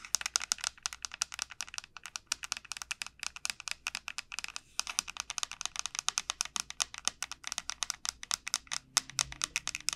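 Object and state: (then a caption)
Dried bottle gourd tapped with fingernails. Long nails rapidly tap and scratch the hard, hollow shell of a large, elongated dried bottle gourd. The result is a steady stream of about 74 crisp, bright clicks with almost no low end and very little ring, broken by a few brief pauses.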